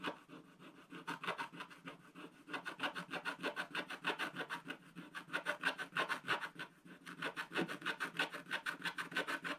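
A wooden stylus rubs and files the black coating off the upper area of a scratch-art paper page in a spiral book with long strokes. It makes a steady, rhythmic run of dry rasping scrapes, about three per second, with a scratchy, bright texture and a faint whistling tone near 1.5 kHz. The strokes swell and fade in loudness throughout.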